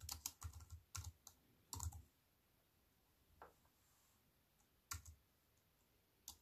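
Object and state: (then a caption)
Plastic computer keyboard being typed on. A compact computer keyboard with black plastic keys on a silver aluminium frame is typed on with fingertips and long white nails. A quick burst of crisp, bright key clicks with low thumps comes first, then slows to a few scattered taps separated by quiet pauses. Each click stops almost instantly.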